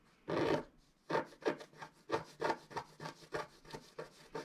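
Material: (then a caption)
Coated card. A pointed wooden stylus scratches across a flat coated scratch-art sheet while the other hand steadies it. One longer rasping stroke is followed by a quick, irregular run of short, dry scratches with a soft, papery midrange texture. Each stroke stops cleanly, with no ring.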